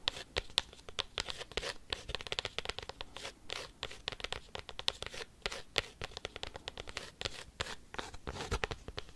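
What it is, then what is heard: Cork coaster. A cork coaster is tapped and scratched quickly with paperclips, making a rapid, irregular stream of dry, crisp clicks and scratchy rasps. The sound is bright and high-pitched with almost no ring, each tap dying away at once.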